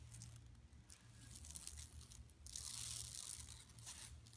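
Long nails on both hands scratch the printed buffalo area of a large, flat, empty yellow woven plastic mesh tote lying on carpet. The result is a run of dry, bright scratching and crinkling strokes that swells into a denser, louder rasp near the middle, with a low hum underneath.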